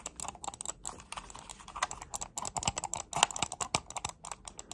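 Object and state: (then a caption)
Hollow plastic computer mouse. Long nails click and tap rapidly on a hollow black plastic wireless computer mouse. The result is a dense, irregular run of sharp, dry, bright clicks that cut off almost instantly, with very little low end.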